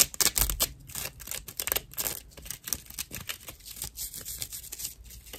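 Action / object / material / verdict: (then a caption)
scrape / dried loofah sponge slice / loofah fiber / none. Long nails scratch and tap a round, hand-sized slice of dried natural loofah fiber. The result is a quick, uneven run of dry, crackly scratches and short ticks, bright and high with little low end, each one dying away almost instantly.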